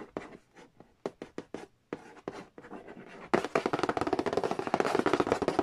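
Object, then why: Cardboard board game box lid. Fingernails trace and scratch across the glossy printed cardboard lid of a large, flat, hollow Monopoly Nintendo edition board game box. Sparse, crisp taps and short strokes come first, then the sound turns into a louder, dense run of rapid scratching and tapping. The hollow box gives each stroke a dry, slightly boxy tone.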